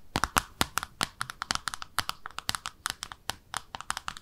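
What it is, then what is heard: Small ceramic soap dish tapped with fingernails. Long nails tap rapidly on the underside of a small pink speckled ceramic soap dish shaped like a bathtub, held in both hands. About two dozen short, dry clicks each ring with a bright ceramic tone near 1.3 kHz and die away almost instantly, with little low end.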